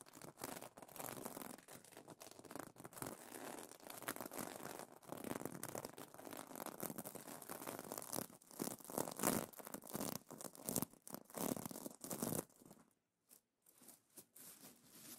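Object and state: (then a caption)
Sequin pillow cover. Fingertips and nails scratch and flip the plastic sequins on a sequin pillow cover, producing a dense, bright, crinkly rasp that surges in quick bursts. Near the end the scratching thins to a few soft, sparse clicks.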